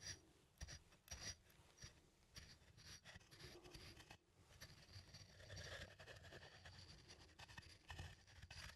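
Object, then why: Small wooden mortar and pestle. A wooden pestle, held upright by small plastic hands, is ground and rubbed against the inside of a small, turned, hollow wooden mortar that appears empty. The result is a quiet, continuous rasping scrape with a low rumble and a bright, gritty hiss that swells and fades with irregular strokes.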